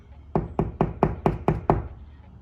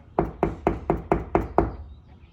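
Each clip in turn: First: hollow drywall between studs. Second: drywall over a stud, solid.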